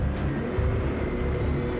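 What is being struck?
Nothing is struck.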